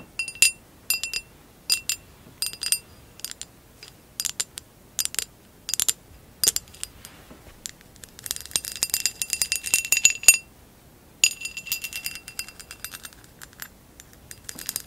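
Long acrylic nails tap an amber textured glass vase lying on its side with its bottom turned outward. Bright, short glassy clinks come in quick clusters separated by brief silences, then turn into denser, rapid flurries of tapping in the second half. Each tap rings only briefly, with almost no low end.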